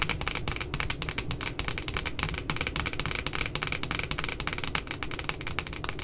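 Long glitter nails tap rapidly on the glossy laminated cardboard puppy cover of a pink spiral notebook lying flat. A dense, steady run of short, crisp clicks carries bright ticking edges over a soft low thump, with each tap dying away almost instantly.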